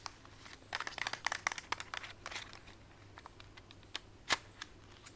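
A small mint-green plastic Instax-style instant camera with a hollow body is held in hand and tapped and scratched quickly all over its casing with long white acrylic nails. A dense burst of bright, dry clicks and scratchy rasps fills the first half, then thins to sparser taps, with one louder sharp tap near the end. Each click dies almost instantly against a faint low hum.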